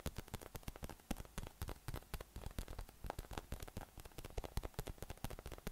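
A yellow, hollow, air-filled inflatable PVC massage ball with nubs is held in one hand and tapped from below with the fingertips. The result is a rapid, uneven stream of soft, dull, low thumps that die away almost instantly.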